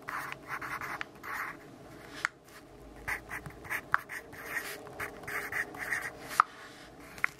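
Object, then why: Graphite pencil on notebook paper. A graphite pencil writes and scribbles on the page of an open grid-paper notebook, making a soft, bursty scratching with bright papery hiss. Occasional sharp ticks stand out where the pencil tip strikes or snaps across the paper.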